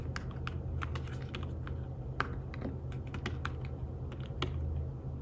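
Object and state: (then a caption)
Fabric-covered tablet keyboard. Fingertips with short nails type on an iPad Smart Keyboard-style folio keyboard, a thin, flat tablet keyboard with dark woven fabric-covered keys. It makes a quick run of soft, short, muted taps that die away almost instantly, over a steady low hum.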